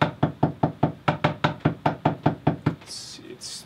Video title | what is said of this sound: Surviving a Flood on a Sailboat: What it's REALLY like living on a boat (Sailing Popao) Ep.29 | i don't know if it's rotten yet but it's definitely waterlogged